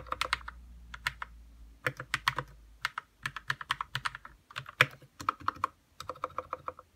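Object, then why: Plastic mechanical keyboard. Fingertips type on a white 60% RK61 mechanical keyboard with plastic keycaps and lubed red switches. Quick bursts of short, bright clacks come in uneven runs separated by brief pauses. Each keystroke dies away almost instantly, with little low-end thump.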